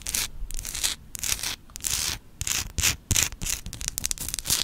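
Long acrylic nails scratch and rub the rough surface of a large, glowing orange Himalayan rock-salt lamp, a solid rough crystal held in both hands. Bright, dry, gritty scraping comes in uneven bursts separated by short quiet gaps, with almost no low-end body and very little ring after each stroke.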